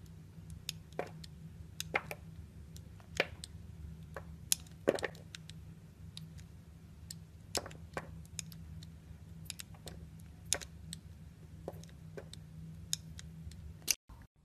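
A small, solid, translucent orange glycerin soap cube is held between fingers with long painted nails while a metal utility knife blade slices and scrapes thin shavings from it. Quiet, crisp, bright clicks and short cracking snaps come at uneven intervals over a low, steady background hum. The sound cuts out abruptly near the end.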